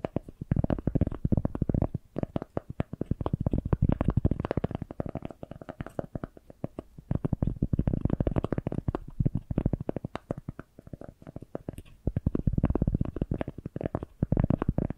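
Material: Cork.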